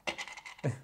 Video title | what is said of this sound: Packabell from No Problem Puzzles - Solution | do a little bit of bell noise. But it sounds plastic.